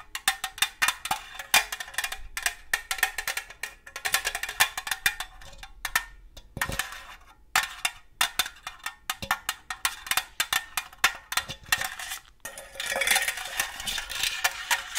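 A hollow, red star-printed cylindrical metal cookie tin is tapped rapidly with long gold metal claw nail covers, producing dense clusters of bright, clicky metallic taps with a tonal ring around 1.8 kHz that dies away almost instantly. Brief pauses break up the bursts, and near the end the tapping blurs into a faster, continuous bright rattle.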